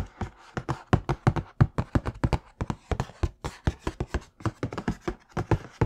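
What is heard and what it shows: Fingertips and nails tap on the lid and side of a large, hollow black Air Jordan cardboard shoe box for Air Jordan 4 "Bred" sneakers, likely with the shoes inside. About 31 quick, dull, low thuds come in an uneven rhythm, each dying away almost instantly.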